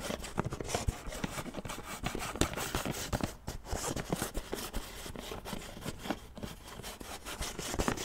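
Fingertips and nails rub and scratch the screw lid and sides of a large white plastic supplement tub as it is turned and handled. The result is a dense run of soft, dry scraping and quick tapping clicks, with occasional sharper ticks over a low, steady rustle.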